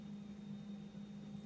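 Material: Nothing is struck.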